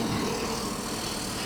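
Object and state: Nothing is struck.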